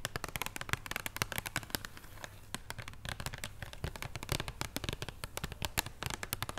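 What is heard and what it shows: Long painted nails tap and scratch a flat, solid extra bitter chocolate bar in its paper and cardboard wrapper lying on a wooden table. The result is a quick, irregular stream of short, dry, crisp clicks and taps with bright edges and a soft low thump beneath, broken by brief scratchy stretches.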